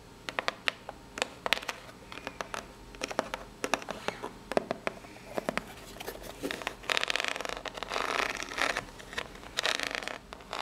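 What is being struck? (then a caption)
Corrugated cardboard box. Long pink nails scratch across the ribs of a small, hollow brown corrugated cardboard box held up in the air. Sharp, bright ticks and short scrapes come first, then build into a denser, continuous rasping scratch in the second half. Each sound is dry and stops almost at once.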